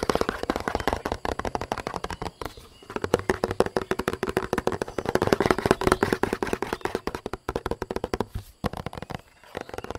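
A large, hollow white plastic bottle with a red cap and purple base is held in the hands and tapped rapidly with long nails. The result is a dense stream of short, dry clicks with a hollow tone around 400 Hz, with brief pauses near 2.5 and 8.5 seconds.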